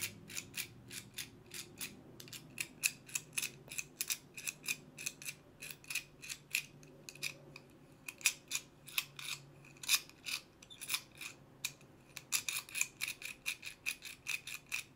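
A small solid metal combination padlock with a black dial and steel shackle is held up by the shackle in one hand while fingertips with long painted nails turn the dial. The mechanism gives a rapid, steady series of many sharp, bright clicks, each dying away almost instantly, over a faint low background hum.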